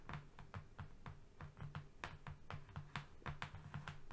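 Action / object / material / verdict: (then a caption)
tap / flat cardboard sheet / cardboard / none. Fingernails tap and scratch across a flat brown cardboard strip, moving along the surface. About 18 quick, dry taps follow one another in an uneven rhythm, each with a soft low thud and a brief bright click that dies away almost at once.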